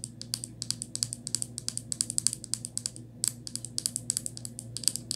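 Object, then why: Plastic toothpaste tube. Long nails tap and scratch along the cap and body of a small white plastic Crest toothpaste tube, hollow and flexible. The result is a rapid, uneven run of short, bright, dry clicks and ticks with a brief pause near the middle, all over a faint, steady low hum.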